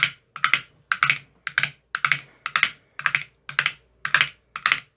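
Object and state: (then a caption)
Plastic ice cube tray with silicone cups. A thin metal rod taps the cells of an empty clear plastic ice cube tray with green silicone cell bottoms. The taps come in quick clusters of two or three, each giving a sharp, bright click with a very short decay, repeated steadily through the clip.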